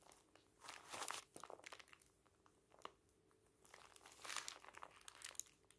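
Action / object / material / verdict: scrape / thick booklet of thin paper pages / paper / none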